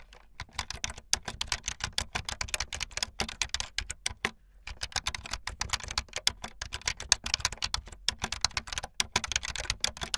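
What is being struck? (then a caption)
Plastic computer keyboard. Fingertips with long light-blue nails type fast on a full-size plastic keyboard with white, blue and yellow plastic keycaps and a blue backlit frame. The keys give a rapid, steady stream of short, bright, clacky clicks with almost no ring, pausing briefly around the middle before the typing resumes.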